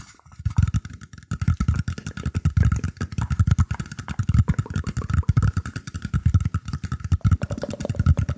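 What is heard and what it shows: Fingertips scratch and tap a round, shallow woven bamboo tray tilted close to the microphone. The result is a dense, irregular stream of quick, dry, boomy thumps with a rough scratchy texture, while a faint steady tone hums in the background throughout.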